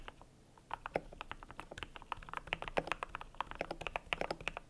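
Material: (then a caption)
Plastic. Fingertips type on a cream compact mechanical keyboard with PBT plastic keycaps. After a brief quiet start, a fast, irregular run of short, crisp clacks follows, each dying away almost instantly. The strokes have a firm midrange body with a bright click on top.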